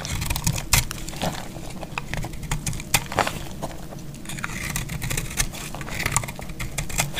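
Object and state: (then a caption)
Dry soap bar scraped with a blade. A solid, dry orange soap bar held in the hand is shaved and scraped with a metal utility-knife blade. The result is a steady run of crisp, crumbling cuts and bright scraping crackles over a low, murmuring background.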